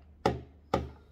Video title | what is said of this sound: Bandai Super Imaginative Chogokin (SIC) Kamen Rider Hibiki : Sabaki, Eiki and Danki | kalau kita jatuhkan ada bunyinya nih Hai Kayak bunyi besi-besi ya